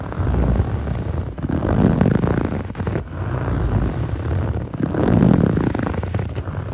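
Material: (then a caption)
Foam. Fingertips rub and scratch across the textured surface of a blue foam yoga mat, a soft solid sheet. The result is a dense, muffled, low scratching rumble with little bright content, rising and falling in waves broken by brief dips.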